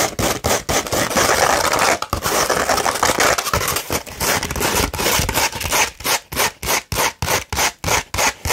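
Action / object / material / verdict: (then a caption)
scrape / sandpaper sheet / sandpaper / none. A flat sheet of sandpaper is scratched with the long nails of both hands, producing a gritty, bright, rasping scrape. For the first six seconds the strokes blur into a dense, continuous scratching; then they break into a quick, rhythmic run of short, separate strokes with brief silences between them.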